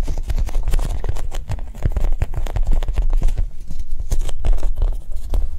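A soft foam Japanese cheesecake squishy toy is tapped quickly and gently, giving a steady stream of rapid, soft, muffled taps. The taps are dull and low-pitched, with almost no ring between them.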